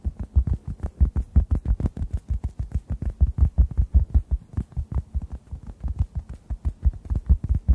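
A hand-sized, solid, yellow-orange synthetic foam sponge is tapped and squeezed with fingertips above the microphones. The result is a rapid, steady series of soft, deep, muffled thumps with almost no brightness, each dying away almost at once.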